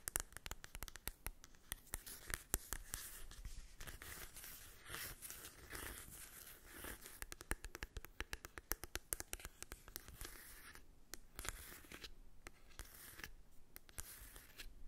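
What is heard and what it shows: Long acrylic nails tap and scratch the cover and edges of a small, flat, hollow cardboard mini eyeshadow palette held in the hand. The result is a quiet, rapid stream of dry, clicky taps mixed with papery scratching and rustling, each tap stopping almost instantly with a light hollow knock underneath.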